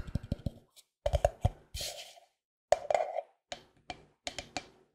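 A medium-sized white plastic Cetaphil cream tub with its lid on, a hollow container that seems to be filled, is tapped with fingertips and nails while held close to the mic. About 17 dry, woody knocks with a hollow midrange tone come in quick clusters separated by short pauses, and two brief scratchy, brushing bursts are mixed in. Each tap dies away almost at once.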